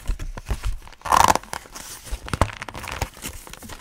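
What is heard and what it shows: A thin, glossy green plastic folder or notebook cover, held upright in both hands, is flexed and rubbed with the fingers. It gives irregular crinkling and shuffling sounds, with a louder tearing-like crackle burst around one second in and soft low thumps between.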